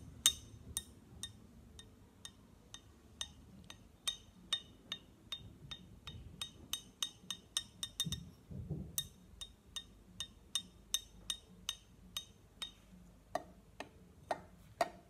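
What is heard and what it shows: The tip of a thin pen-like stick taps on the glass of an empty clear glass jar with a pink lid, about 35 light, evenly spaced taps. Each gives a short, bright clink ringing near 3.7 kHz and dies away almost at once. A soft low rustle comes in around the middle, and the last few taps sound slightly fuller with some added lower tone.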